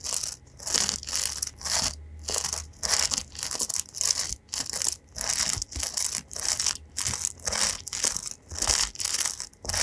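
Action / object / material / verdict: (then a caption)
scrape / paddle hairbrush with metal pins / metal / none. Fingertips scratch and strum across the metal pin bristles of an oval paddle hairbrush with a white rim, held up in both hands. The result is a steady series of short, bright, scratchy crinkling bursts separated by brief quiet gaps, with almost no low end.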